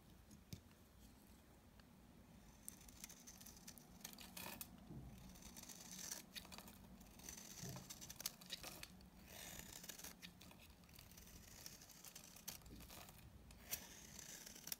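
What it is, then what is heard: Very dry bar soap. A utility knife blade shaves and scrapes curls off the surface of a palm-sized, very dry, solid cream-colored Sorti bar soap held in the hand. The result is a quiet, steady run of dry, crisp scraping and crackling, bright and papery, with sharper clicks as the blade catches, over a faint low hum.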